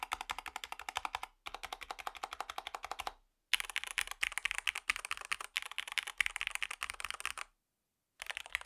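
Fingertips type on a compact REXUS DAXA M64 Ultimate wireless gaming mechanical keyboard fitted with white and grey PBT plastic keycaps on a white plastic case, first with one hand and then with both. Rapid runs of short, bright, clacky keystrokes come in bursts separated by brief pauses, with no low-end thump and almost no ring after each press.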